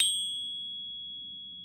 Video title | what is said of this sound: 5 ways to test a Silver Bar at home | high pitched sound to it and the resonance is a little funky as well so it's definitely not a real silver bar